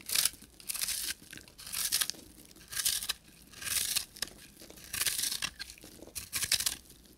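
A pink, solid, dry bar of soap with a copper-painted crust is held in the hand and scraped with a short metal knife blade, shaving off powdery flakes. About seven dry, crisp scraping strokes are heard, each a bright, high, crackly hiss with almost no low end, separated by quiet pauses.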